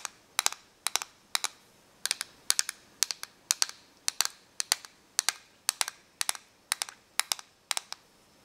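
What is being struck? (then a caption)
Plastic correction tape dispenser. Long painted nails tap and scratch the clear front cover of a small, hollow, clear plastic correction tape dispenser with a green spool. Thirty-six sharp, bright, dry clicks come in quick clusters of two or three across the clip, with no low end and almost no ring.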